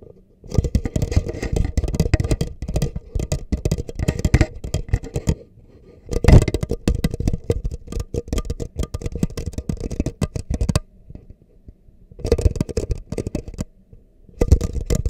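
Fingertips rapidly tap the sides of an empty, hollow, red disposable plastic cup held upside down in both hands close up. The taps are dull, hollow, and low-heavy, with quick dry clicks that stop instantly. They come in dense bursts separated by brief pauses.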